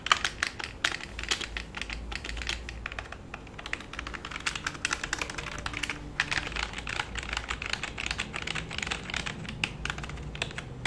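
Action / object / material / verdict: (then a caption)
tap / plastic computer keyboard / plastic / none. Fingertips of both hands type on a black full-size plastic computer keyboard resting flat on a lap. A steady, rapid stream of short, bright clacking key taps continues throughout with no ring after each stroke, and a faint low hum sits underneath.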